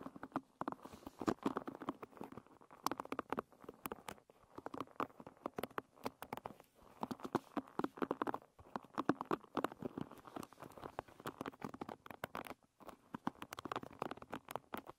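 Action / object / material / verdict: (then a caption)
scrape / wooden hairbrush with wooden pin bristles / wood / none. Long red nails scratch and flick the wooden pin bristles of a wooden hairbrush lying bristles up. The result is a quiet, dense patter of short, dry clicks and ticks in the midrange, coming in bursts separated by brief pauses.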